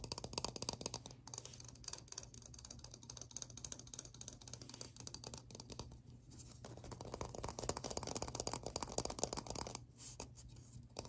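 Close-up ASMR tapping on plastic objects produces a fast, uneven stream of short, dry clicks and ticks. The tapping runs steadily at a soft level, thins briefly around six seconds, and then picks up again, all over a low, constant hum.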